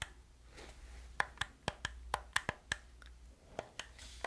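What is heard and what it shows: Fingertips and nails click the buttons and tap the body of a hollow black plastic gamepad. Short, sharp, dry clicks sound one after another over a low steady hum, with a bright plastic ring on each tap that dies away almost instantly.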